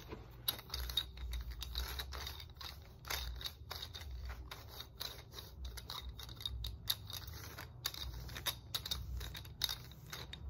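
Long nails tap rapidly on the rollers of a red segmented hard plastic muscle roller stick with a black foam handle. The result is a dense stream of quick, dry, bright clicks that cut off instantly, over a faint low rumble.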